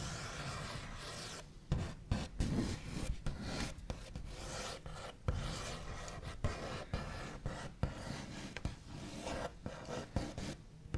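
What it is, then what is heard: Wooden table top. The backs of fingernails scrape, trace and sweep across a large, solid wooden table top with a smooth, white-painted finish. The result is a steady, low, raspy rubbing broken by sharp, quick clicks and taps.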